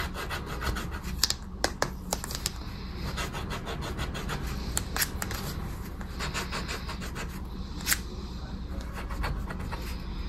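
A small, thin, flat paper scratch card (10X) lies on dark fabric, held down with fingertips, while a dark, round, coin-like scraper rubs and scratches off its coating. A steady, grainy rasping runs throughout, broken by sharp, bright clicks and scrapes, and leaves visible scratch-off debris.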